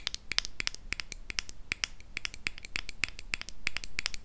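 Long nails scratch and tap the silver metal lid and glass body of a small, empty glass jar as it is turned in the hands. A rapid, irregular run of crisp, bright clicks and ticks comes with faint scratchy rustling, each tap cutting off almost instantly, and the level stays fairly even throughout.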